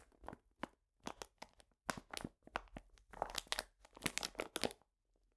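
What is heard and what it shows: A medium printed paper bag full of cane sugar is squeezed and rubbed with the fingertips. It makes a string of short, dry, bright crinkling and crunching bursts with brief silences between them.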